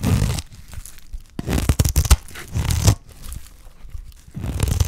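A solid, dry green soap bar held in the hand has its surface scraped with a utility knife blade, producing rough, crunchy tearing strokes in several bursts. The scraping is dull and weighted toward the low end, with brief bright edges at the start of each stroke and quieter gaps between them.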